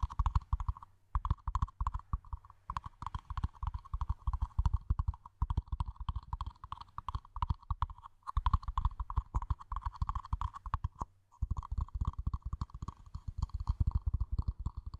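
A small, hollow, empty matte black plastic mini planter pot is held in both hands over a microphone and fitted onto it, then tapped and knocked on its sides with long manicured nails and fingertips. The result is a rapid, continuous stream of dull, deep, hollow knocks with a midrange ring, broken by a few brief pauses.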